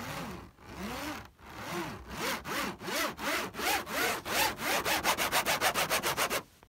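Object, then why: Woven polypropylene trampoline mat. Fingernails and fingertips scratch across a large, flat, taut black woven polypropylene trampoline mat in fast, repeated strokes. Each stroke makes a dry, bright rasp with a rising-then-falling tonal sweep. The strokes start slow and long, then become shorter and quicker before stopping abruptly.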